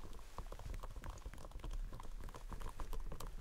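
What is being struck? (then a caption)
Whole watermelon. A large, whole green striped watermelon with a thick rind is held up in front of the body and thumped and knocked by both hands in rubber costume gloves. Quick, dull, hollow knocks patter over each other at a low, deep pitch, each dying away almost instantly.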